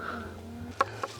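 A ripe watermelon is tapped twice, giving two short, clear, hollow knocks with a mid-pitched ring that fades almost at once over a faint, steady low hum. The clear sound marks it as a good, ripe melon, which later splits open when cut and proves delicious and juicy.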